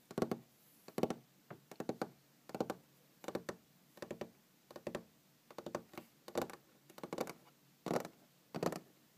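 Long green-painted fingernails tap on a large solid wooden tabletop in quick, irregular clusters of short, dry knocks. Each tap has a warm low-mid body and a faint bright click, then stops almost instantly over a quiet, steady background hiss.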